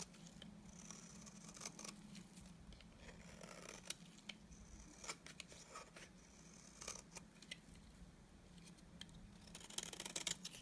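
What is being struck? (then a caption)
Bar of soap shaved with a knife blade. A solid, dry cream bar soap held in the hand has strands shaved off it with a utility knife blade. Quiet, crisp scraping strokes come with sharp, bright clicks over a steady low hum, getting busier and louder near the end.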